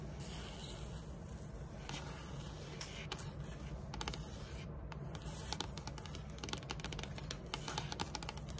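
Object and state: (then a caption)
Wooden tabletop tapped and scratched. Long metallic nails tap and scratch along the grain of a large, flat, solid dark wood-grain tabletop. Quick, crisp clicks with very short decay and scratchy, bright textures ride over a steady low background rumble, coming denser and sharper in the second half.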